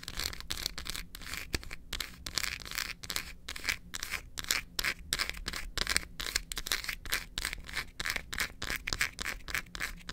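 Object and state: Milk chocolate bar.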